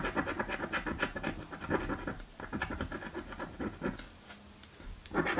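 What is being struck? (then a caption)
Paper scratch-off ticket scratched with a coin. A coin scratches across a thin, flat purple cardboard scratch-off lottery ticket, making rapid, rhythmic raspy scrapes. The strokes come in bursts with brief pauses and end in a louder final flurry.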